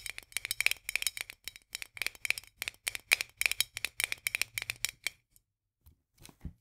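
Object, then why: Metal jar lid on a glass jar. Long nails tap rapidly on the white metal lid of a full glass jar, then scratch along the lid's rim. The result is a dense run of sharp, bright, clicky hits with a faint metallic tone near 2.4 kHz and almost no ring. The burst stops after about five seconds, followed by a few faint, softer sounds.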